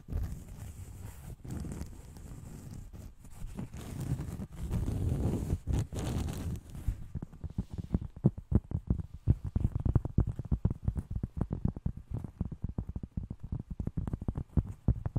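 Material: Cork.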